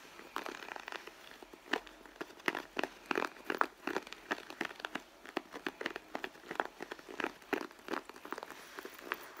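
Long blue nails scratch along the stitched panel on the side of a red pebbled-leather handbag, which is hollow and soft. The result is a quiet, continuous stream of short, dry scratching and crinkling bursts, mostly in the mids with some brightness and no low end.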